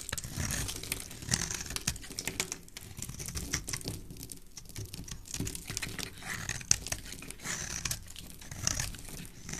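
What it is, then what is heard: Bar of soap being shaved. A solid oval cream-colored soap bar held in the hand is shaved with a black utility knife blade into white flakes. Steady, crisp scraping and cutting with dense crackly, crinkling bursts, bright in tone over a soft low rumble.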